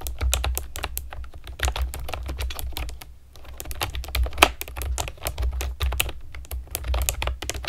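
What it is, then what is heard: Plastic keyboard. A pastel plastic keyboard with round keycaps is typed on with long nails and fingertips, producing a steady run of quick, bright clicks and clacks with a short pause near the middle. A constant low hum sits underneath the typing.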